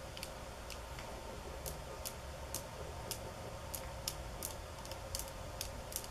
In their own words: Tapping on Bamboo sticks ~ Golpetear Palos de Bamboo 9:05 - 14:11